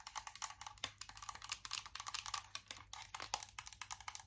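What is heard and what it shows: Long acrylic nails tap quickly on a closed Too Faced chocolate-bar eyeshadow palette, a small, hollow, embossed metal tin. The result is a rapid run of sharp, dry, bright clicks with almost no ring and very little low end.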